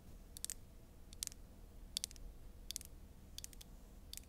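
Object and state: Glass foundation bottle.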